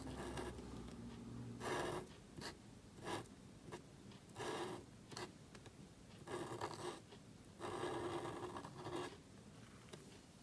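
A calligraphy pen nib scratches across a small, thin black cardstock card resting on a table while writing. Soft, dry scratching strokes come in short bursts separated by quiet pauses, with bright hiss and a faint tone around 344 Hz. The strokes stay quiet and close throughout.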